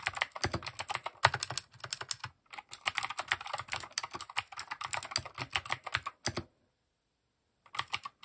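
A compact mechanical keyboard with plastic keycaps is typed on with fingertips, producing rapid, bright clicking keystrokes in quick bursts. The typing pauses briefly near the middle and stops for about a second near the end before a few more keystrokes.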